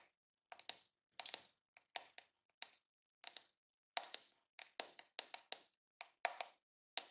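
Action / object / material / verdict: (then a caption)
tap / plastic hair brush / plastic / none. Fingertips and short nails scratch and tap along the smooth pink back and the flexible plastic bristles of a pink and yellow plastic detangling hair brush with a hollow plastic body, held in one hand. Quiet, dry, bright clicks and short scratchy bursts come in an irregular rhythm, each dying away almost instantly, with a mid-pitched hollow tone and no low end.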